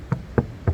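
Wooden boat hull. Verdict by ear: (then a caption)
Rotten. Three dull, low knocks on an old wooden boat hull that already has holes. Each knock is short and muffled, with little ring and no bright crack. The hull sounds rotten: soft and waterlogged, with no strength left.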